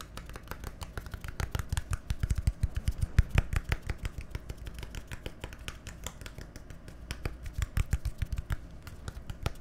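A small, hollow, labeled plastic bottle with a green cap is tapped and scratched with fingernails. Rapid, dry clicks and taps with bright scratchy edges ride over a steady low thump, each one dying away almost instantly.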